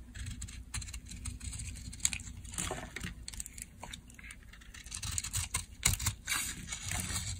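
A blade carves crumbly, dry chunks off a solid cream-white bar of soap held in the palm. Crisp, bright scraping and crumbling cuts come in irregular bursts over a low, steady hum, with a few sharper snaps standing out.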